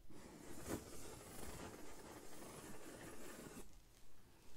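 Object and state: Corrugated cardboard sheet being rubbed and drawn on.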